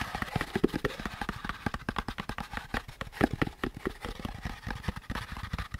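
Fingertips tap and scratch the curved surface of a hollow beige molded paper pulp packaging insert with a central groove. The result is a rapid, uneven run of short, dry, hollow taps with a soft papery scratch between them, mostly low and mid in tone with little high brightness.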